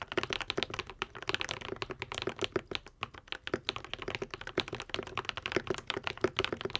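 A modded white and pink 75% Epomaker TH80 mechanical keyboard with Akko V3 Cream Yellow switches and plastic keycaps is typed on continuously with the fingertips of both hands. It gives a fast, steady stream of short, crisp clacks with a rounded mid-pitched body and bright tops. Each keystroke dies away almost instantly.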